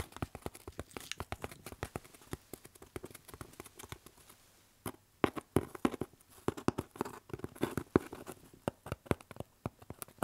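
A hollow, medium corrugated cardboard shipping box is held up and turned while fingertips tap and scratch its surface. The result is a rapid run of short, dry, papery taps with a hollow mid-range body and quick scratchy rustles. The taps pause briefly near the middle, then resume more strongly.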